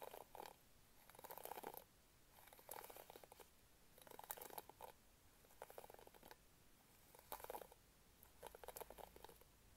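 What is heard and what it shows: Long painted nails scratch across the pink plastic bristle pad of a hand-sized hairbrush with an orange plastic handle, held close to the mic. Seven quiet, separate passes each make a dense crackling rasp, with a midrange body and bright, ticking bristle snaps. Short pauses of near-silence fall between the passes.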